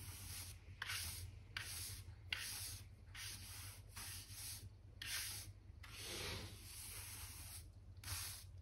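A black hand brush with pale bristles sweeps and rubs dirt and dust between the planks of a solid wooden plank floor. Repeated bright, hissing bristle strokes come in bursts with short pauses between them, some longer and scratchier than others. A steady low hum runs underneath throughout.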